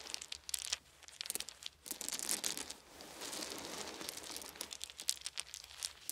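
Small, solid, round wooden beads are held in both hands, rubbed between the fingers, and dropped onto a pile resting on a soft blanket. Bursts of bright, dry clicks and crinkly rattling alternate with a steadier stretch of dense rubbing in the middle. The clacks are short and high with almost no ring, and there is little low end.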